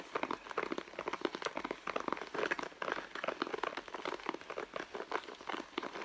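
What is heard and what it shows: Long blue nails scratch and squeeze the end panel of a red leather handbag held in both hands. The result is a steady run of quick, dry crinkling scratches with a soft creak of leather, mostly mid-range with almost no low end and short, non-ringing bursts.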